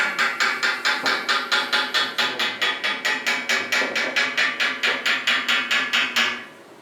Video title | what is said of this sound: 클랑마누어 팍투어 공방의 리빌트 철학 | 약간의 소리의 차이가 들리긴 하죠 제가 중간 부분을 두드리던지 아니면 여기 가장자리를 두드리던지에 따라서요 하지만 단단한 금속을 두드리는 소리는 일관되게 나죠